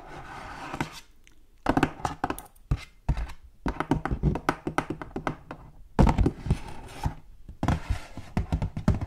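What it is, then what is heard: Hollow cardboard gift box. Long gold metal claw nails tap and scratch the surface of a hollow purple patterned cardboard gift box as it moves. Quick, dull, low thunks come in clustered bursts with short pauses between them, each tap damped with almost no ring.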